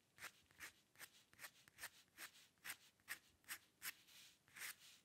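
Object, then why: Dip pen nib scratching a paper sheet. A metal dip pen nib on a wooden holder scratches short strokes into a thin white paper sheet with an ink drawing, lying flat on a dark table, as if drawing hair. Eleven quiet, dry scratches come at an uneven, fairly quick pace, each a brief bright rasp with almost no low end and no ring.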